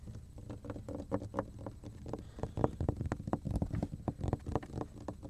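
A large, flat, thin, solid dark grey speckled cutting board is held upright in both hands and tapped and drummed with fingertips and nails. The result is a fast, uneven patter of soft, dull knocks that are mostly low and hollow, with a slight mid-range tone. Each tap dies away almost instantly with no bright ring.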